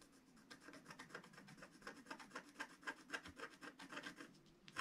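A wooden stylus scratches a flat black sheet of wax-coated scratch art paper, working over the chimney bricks. A quick, uneven run of soft, dry rasping strokes, about four per second, is heard, with a bright, papery scrape peaking near 1.5 kHz and almost no low end.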